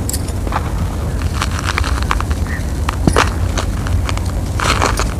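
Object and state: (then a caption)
Dry cement-sand clumps crumbling. Bare fingertips and palms crush and crumble small, solid, compacted clumps from an outdoor pile of loose, dry, grey cement-sand powder, and the powder falls away. Quick, dry crackles and gritty, bright crunches come in short bursts over a steady, heavy low rumble.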